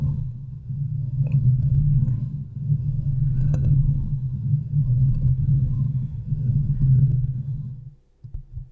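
Long nails on both hands scratch and rub the sides and top of the hollow, domed steel mesh grille of a large desktop USB microphone. This makes a dense, continuous low rumbling scrape centered around 150 Hz, with a few faint brighter ticks. It drops away near the end, leaving a few quieter scratchy bursts.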